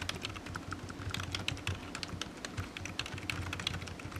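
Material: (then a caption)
Plastic. Fingertips type steadily on a low-profile black plastic computer keyboard with hollow keys resting on a desk mat. The result is a quick, uneven run of short, dry clicks and clacks with a bright edge around 3.3 kHz, over a steady low hum.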